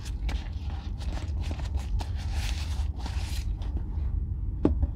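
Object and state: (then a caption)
Leather boot being rubbed. A gloved hand rubs the leather upper of a brown Red Wing Weekender Chukka leather boot with a crepe sole, held hollow in one hand while it is re-oiled. The rubbing makes a steady low, muffled rumble with soft, brushy swishes on top, ending in a sharper scuffing thud near the end.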